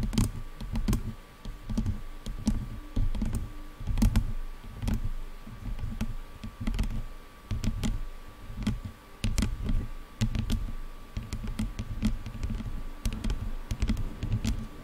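Long nails tap and scratch along a black plastic headphone headband, moving from the sides up to the top. Quick, dry clicks and taps come in rapid clusters over a dull, low rumble of scratching. A faint steady tone runs underneath throughout.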